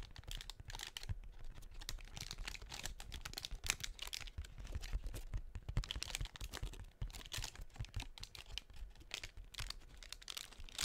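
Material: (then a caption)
Tissue paper. Long painted nails tap and scratch the cells of a hollow blue tissue-paper honeycomb half-ball attached to a cardboard doughnut cutout and held by hand. A steady run of quick, dry paper clicks and crinkly scratches with a soft low thump underneath and a bright rustle on top.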